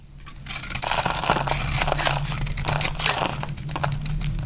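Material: Soap.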